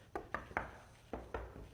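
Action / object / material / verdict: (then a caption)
knock / stone-look stage set piece / unknown / fake. A large stage on the Fort Boyard set that looks like stone is knocked on five times, giving short hollow knocks with a mid-pitched, slightly resonant tone and very little ring. The hollow sound reveals it is fake, just a set piece and not real stone.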